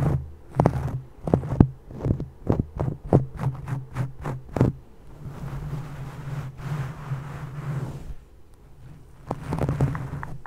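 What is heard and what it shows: Fingertips with long painted nails rub and scratch soft teal cable-knit fabric, possibly a sweater or beanie, draped over a microphone. A quick series of sharp, dry scratches gives way to a steady, muffled rustling rub, then a brief quiet before more scratching near the end, all over a low, constant hum.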